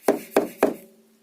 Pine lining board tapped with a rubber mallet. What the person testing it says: вот такой вот глухой звук? Вот он. Слышно, да, характерно? Вот здесь она полностью вошла.